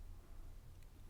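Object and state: Nothing is struck.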